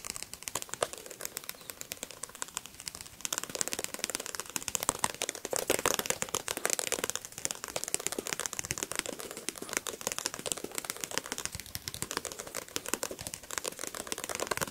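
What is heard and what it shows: Fingernails tap rapidly on the glossy card cover of a solid paperback book held up close. The result is a dense stream of sharp, dry, typewriter-like clicks with a bright, crinkly edge, little low end, and almost no ring. The tapping swells louder in the middle and continues steadily to the end.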